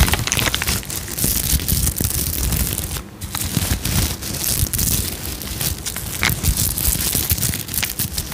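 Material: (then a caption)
Sequins. Long nails rub and scratch the surface of a sequin-covered fabric pouch held beside the mic. The result is a dense, continuous crinkling and crackling scratch, with bright, hissy highs over a steady low rumble and a brief quiet dip about three seconds in.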